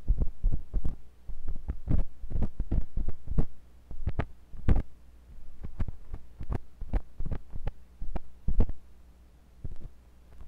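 A thin metal pointed sculpting tool with a wooden handle, held by fingers with long pink nails, scratches and pokes inside the ear canal of a white silicone ear on a block-shaped binaural microphone. Dense, muffled low thumps and rubbing scrapes come in quick bursts over a steady low hum, each one dying out almost instantly.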